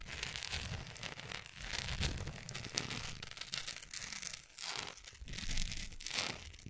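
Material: Wax.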